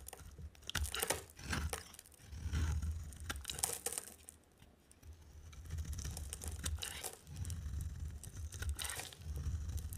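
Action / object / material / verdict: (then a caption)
scrape / bar of soap scraped with a blade / soap / none. A utility knife blade scrapes and carves a solid blue, white and green striped bar of dry soap. Repeated dry, crisp scraping and crumbling strokes come in bright bursts over a steady low rumble, with short quiet gaps between passes.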